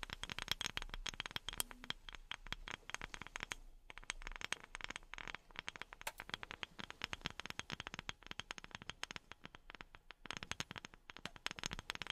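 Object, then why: Wooden object. A wooden object is tapped rapidly with silicone rubber pads worn on the fingertips. The result is a dense stream of short, dry, bright clicks and scratchy taps with almost no ring, pausing briefly before continuing.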